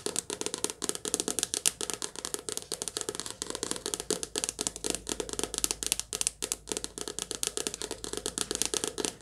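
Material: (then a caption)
Paper. Long nails tap fast on the glossy cover of a softcover paperback book held in the hands. The result is a quick, continuous stream of dry, bright clicks with almost no low end and no ring after each tap, rising and falling in small rhythmic bursts.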